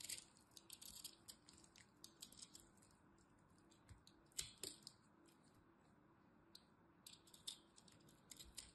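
A dried lilac soap bar held in the hand is cut with a small metal blade, breaking off brittle pieces. Quiet, bright crackles and sharp snaps come in irregular bursts over a low background hush, with a few louder cracks as chunks break away.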